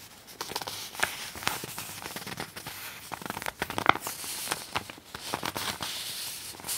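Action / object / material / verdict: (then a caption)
scrape / glossy magazine paper / paper / none. A glossy fold-out poster in a magazine is folded and then pressed flat with fingertips and nails. Sharp, bright crinkles and crackles snap out over a steady papery rustle, with almost no low end.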